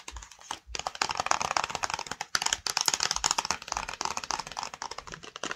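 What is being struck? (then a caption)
Small flat cardboard box. Long nails tap fast on the face and side of a flat, hollow black and yellow cardboard screen protector box. The result is a dense run of quick, dry, bright clicks with very little ring, broken by brief pauses near the start and middle.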